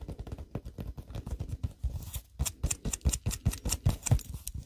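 Long acrylic nails quickly tap and scratch along the painted surface of a hand-sized, solid polyurethane foam squishy shaped like a milk bottle, held upright. The result is a rapid, irregular patter of soft, dull, low thuds that die away almost instantly, mixed with brief, brighter scratchy flicks.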